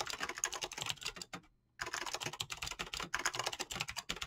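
Fingertips with painted nails type rapidly on a mechanical keyboard with PBT plastic keycaps and clicky switches. They make a dense stream of bright, short clacks that die away almost instantly. The typing breaks off in a brief silent pause near the middle, then resumes at the same fast pace.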